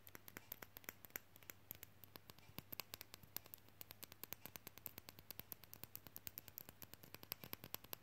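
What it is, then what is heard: Painted wooden figurine magnet, solid. Long fingernails tap quickly on a small, solid, glossy painted wooden matryoshka figure magnet held in the fingers. The result is a rapid, steady run of many short, dry clicks with bright, high tops, each dying away almost instantly over a faint low hum.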